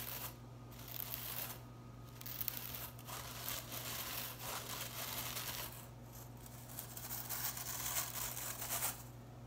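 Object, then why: Synthetic plastic broom bristles. Long-nailed fingers run through blue synthetic plastic broom bristles and flick them, fanning them out. The result is bright, dry, crinkly rustling and scratching in uneven bursts, over a steady low hum.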